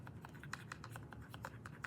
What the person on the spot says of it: If I shake, you can hear something in this box.